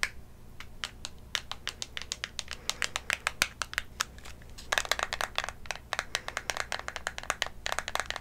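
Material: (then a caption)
Cardboard. A small, hollow, white printed cardboard lipstick box is held in both hands close to a condenser mic, at one point near the mouth, and tapped and scratched with long manicured nails. Dozens of quick, dry, crisp clicks and taps ring out over a faint low hum. The taps grow denser and brighter in a flurry about halfway through.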